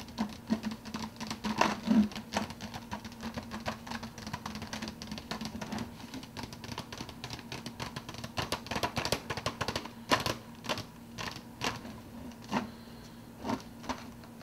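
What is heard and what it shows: Fingertips rapidly tap and drum on the clear plastic lid of an empty, large, translucent blue plastic soda cup. Quick, dry, hollow clicks with bright edges come in dense bursts, with a few sharper, louder taps standing out over a steady low hum.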